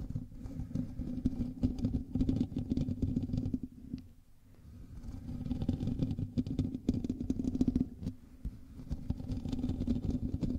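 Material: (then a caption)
Metal mesh. Both hands scratch the hollow metal mesh grille of a black USB microphone with fingertips and nails. The result is a dense, boomy rustling and scraping with a strong low hum near 250 Hz. It runs almost continuously, briefly quieting around four seconds and again around eight seconds.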